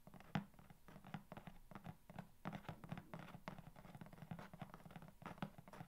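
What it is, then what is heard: Corrugated cardboard box. Long nails quickly tap and scratch the top surface of a long, hollow corrugated cardboard box. The result is a fast, steady run of short, dry taps and papery scratches with a low, hollow resonance underneath, each sound dying away almost instantly.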